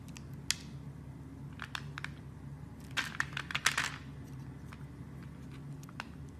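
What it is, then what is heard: Soap bar being carved. A blade scrapes and carves small pieces off a solid red translucent soap bar with a scored surface, held in the hand. Short, crisp, bright scraping ticks and crackles come in scattered bursts, thickening into a dense cluster of cuts midway through, over a steady low hum.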